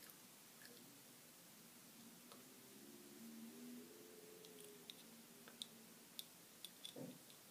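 Long glittery acrylic nails tap and scratch a small round ball wrapped in crinkled silver aluminium foil, held in the fingers. Soft, steady foil scratching and rustling fills the first five seconds, with a faint hum running underneath. Six sharp, bright clicks follow as the nails tap the foil.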